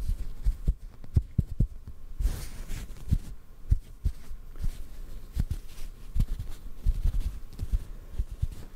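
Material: Cotton.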